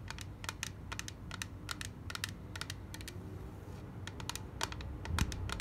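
Long black nails rapidly tap a small, clear, rigid plastic case of white cotton pads held in the hand. The taps make quick, dry, bright clicks that die away almost instantly, in irregular bursts over a steady low rumble. The tapping grows slightly louder toward the end.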